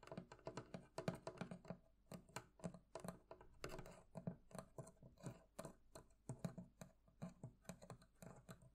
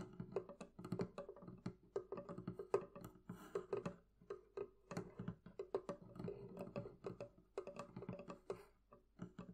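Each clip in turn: First: metal fittings of a barrel chest. Second: wooden barrel chest.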